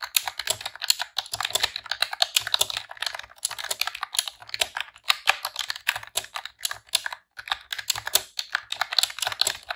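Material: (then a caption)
Plastic. Long press-on nails and fingertips type rapidly on a pink retro-style plastic computer keyboard with round keycaps. The result is a dense, steady stream of bright, sharp plastic clicks and clacks with brief pauses between bursts and no low rumble.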